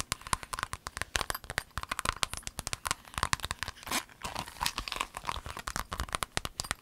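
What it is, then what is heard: Clear vinyl pencil case. Long nails tap an empty rainbow clear vinyl pencil case, then hands fold and crinkle it. The result is a rapid stream of sharp, bright plastic clicks and crackles with a faint tone near 1 kHz, plus a louder rustling crinkle around the 4-second mark.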